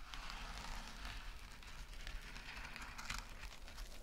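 Long nails scratch rapidly across a small, flat, rectangular gold metallic mesh scrub sponge and squeeze it. The result is a steady, dense, crackly rustle of bright scratching texture over a low rumble, with a few sharper crinkling spikes along the way.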